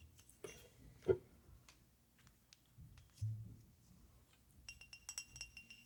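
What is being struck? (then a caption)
Glass whiskey bottle. A glass whiskey bottle is tapped and scratched, giving soft glassy clinks and light scraping. The sound ends in a quick run of bright, ringing taps.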